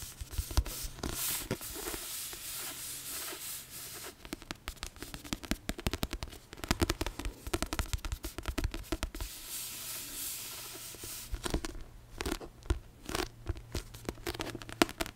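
A paperback copy of Harry Potter and the Chamber of Secrets with a paper cover, held upright, is scratched and tapped with long manicured nails. Bursts of quick, dry clicking taps alternate with bright, scratchy rubbing across the cover, over a faint steady low hum. Each tap stops almost instantly with no ring.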